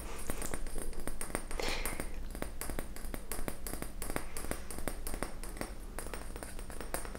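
A clear glass volumetric flask with a round hollow bulb is held in one hand while fingernails tap rapidly on the bulb. The result is a quick, steady stream of light, sharp ticks that stop almost at once, over a constant low hum.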